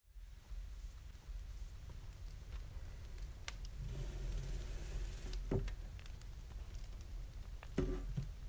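Fingertips of both hands tap and drum on a flat, solid, polished wooden desktop. The result is a soft, irregular patter of short, dull, low-heavy taps over a steady low rumble, with a faint hollow tone near 370 Hz. A few sharper, brighter knocks stand out toward the end.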